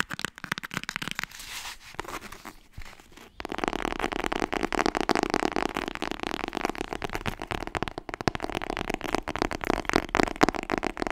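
Fingers tap rapidly on the hardcover of the book "Frontiers in webdesign." The opening three seconds hold quieter, sparser taps, then a dense, louder stream of short, dry, crackly clicks runs steadily to the end, centred in the midrange with little low end.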